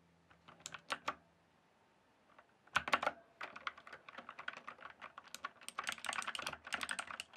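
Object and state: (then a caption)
Plastic mechanical keyboard. Fingertips type on a blue and purple backlit mechanical keyboard with plastic keycaps. A few scattered keystrokes come first, then a short pause, a louder burst of strikes, and a steady run of rapid typing. Each press is a crisp, bright plastic clack that dies away almost instantly.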